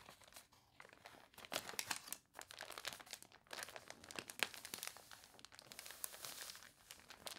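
Fingertips with long nails rub and press a glossy paper page of a toy catalog, then lift the page. The result is quiet, bright, crunchy crinkling made of dense, quick crackles with almost no low end and no ring.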